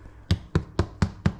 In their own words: sounds hollow at the top